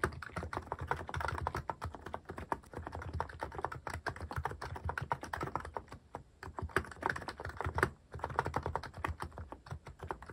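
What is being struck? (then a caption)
Mechanical keyboard with plastic keycaps. A cream mechanical keyboard fitted with sculpted plastic cat and paw keycaps is typed on quickly with fingertips. The result is a dense, steady stream of short, dry plastic clicks and thocks, with a brief lull near the six- and eight-second marks before the rapid typing resumes.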